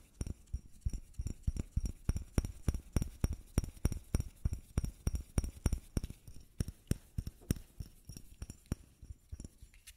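A small white bottle is tapped repeatedly with quick, uneven taps over ten seconds. Each tap is a short, dry knock with a low thump and a faint bright click on top that dies away almost instantly. The tapping keeps going at a steady, quiet level throughout.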